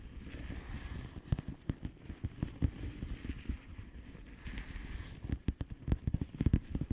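Long painted nails tap and scratch a flat blue plastic bubble wrap envelope with air-filled bubbles. Soft, low, dull taps and crinkly scratching sit over a steady rustle, with sharper, louder clicks clustering near the end.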